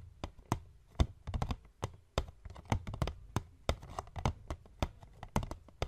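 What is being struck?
Paperboard box.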